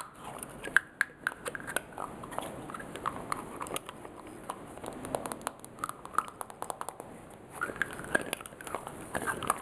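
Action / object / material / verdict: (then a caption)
tap / frosted glass perfume bottle with metal cap / glass, metal / none. Fingertips and nails tap on a blue frosted glass perfume bottle and its shiny silver metal cap, removing and replacing the cap. Quick, sharp clicks and light taps come in uneven bursts with brief bright glassy pings, over a soft rustling background.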